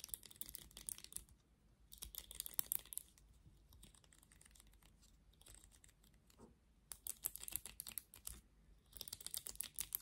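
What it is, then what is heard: Plastic vent hairbrush. Long nails scratch and flick the plastic bristles of a black plastic vented hairbrush. Quick bursts of crisp, high-pitched clicking and scratching come in four clusters, with quieter rustling in between.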